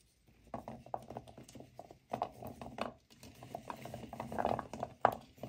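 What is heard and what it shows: Both hands, fingernails touching, mix and rub a pile of dry, solid natural cork wine stoppers together in a white bowl. The result is a dense, soft clatter of hollow knocks and scratchy rubbing in bursts, with a sharper knock near the end.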